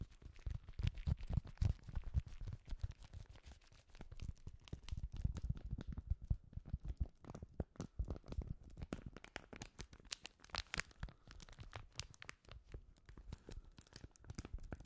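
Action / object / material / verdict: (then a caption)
scrape / sheet of paper / paper / none. A white paper sheet, held in gloved hands over the microphone, is bent and crinkled with the fingers. It makes close, dense crackling and soft rustles with a low, bassy rumble and quick bright snaps throughout.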